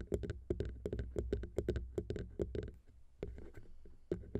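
Long pink nails tap all over the tops of the small chrome metal XY microphone capsules on the plastic XY mount of a Zoom H6 recorder. About nineteen quick, dry taps come through close and boomy, each with a deep thump and a brief bright click that dies almost at once. Around the middle the tapping pauses briefly, then resumes with scattered taps over a soft scratchy rustle.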